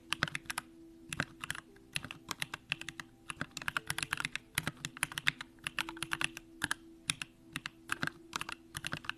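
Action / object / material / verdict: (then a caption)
tap / mechanical keyboard with aluminium case and plastic keycaps / plastic / none. Continuous two-handed fingertip typing on a compact Bakeneko65 mechanical keyboard with an aluminum case, pink plastic keycaps and Durock Lavender switches. It produces a steady stream of crisp, bright clacks that stop almost instantly, in uneven bursts over a faint, steady low hum.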